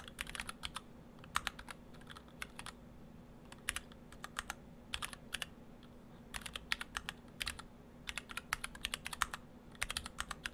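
Fingertips of both hands type on an Orthodox Rev3.1 split ortholinear mechanical keyboard in two halves, with clear acrylic cases, white and cyan PBT dye-sub plastic keycaps and stock Gateron Brown switches. Short, bright, clacky keystrokes come in quick bursts separated by brief pauses, each one dying away almost at once. A steady low hum runs underneath throughout.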